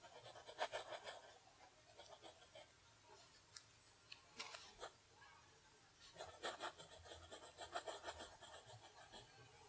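A fountain pen nib scratches across a flat sheet of lined paper resting on a desk while writing in cursive. Quiet, dry, bright scratching comes in uneven bursts of strokes, separated by brief pauses between words.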